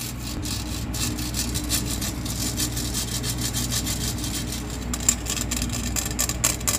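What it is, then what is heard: Stainless steel box grater being scratched. Long nails scratch rapidly along the perforated faces and edge of a hollow stainless steel box grater. The result is a continuous, bright, rasping scrape, like sawing or filing, over a steady low hum. A few sharper metallic scrapes stand out near the end.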